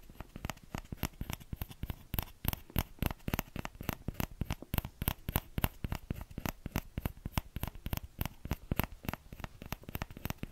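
A small orange plastic ladle, a hollow scoop with a thin handle, is held in one hand close to the microphone while the fingertips and nails of the other hand tap and scratch on the scoop. It makes a fast, irregular stream of short, dry taps with a dull low thump beneath bright scratchy clicks. Each tap dies away at once with no ring.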